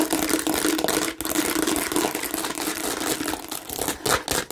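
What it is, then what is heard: Plastic bottle scratched. Long nails on both hands aggressively scratch a hand-sized, hollow, red and green plastic watermelon-shaped bottle with raised bumpy seeds. The result is a dense, continuous, crinkly scratching with bright, rasping texture and a faint hollow hum underneath. It dips briefly just past the first second before continuing in busy, uneven bursts.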